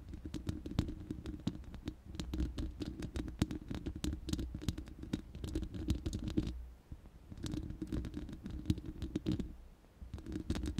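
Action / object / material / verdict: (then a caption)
scrape / steel mesh microphone grille / steel mesh / none. Long nails scratch across the bare, hollow, round steel mesh grille of a studio microphone, producing a rapid, crackly scratching with sharp, brief ticks over a hollow, low, rumbling body. The scratching runs in bursts with short pauses around the middle and near the end.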